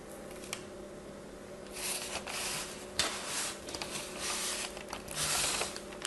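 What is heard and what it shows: Fingertips with long white-tipped nails squeeze, crumble and rub apart a large, soft pile of loose purple and orange kinetic sand. The result is a bright, grainy hiss that swells in waves, with a few small sharp clicks. A faint steady low hum runs underneath.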